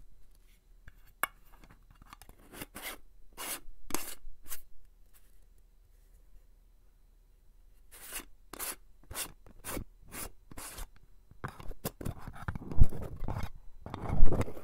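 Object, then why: Small metal cream tin. A small round metal cosmetic cream tin with a striped pink-and-white lid, filled with pink cream, is held in one hand while fingertips and nails rub and scratch its lid and rim, both open and closed. The result is a series of short, bright, dry scratching strokes in loose clusters, separated by near-silent pauses, with a few louder, fuller rubs and soft thumps toward the end.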